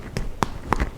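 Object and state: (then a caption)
Baked-through bread loaf (hollow). Four quick taps on the bottom of a freshly baked rustic potato bread loaf give short, hollow knocks with a brief ring near 1 kHz, each dying away almost at once. The hollow sound shows the loaf is baked through and done.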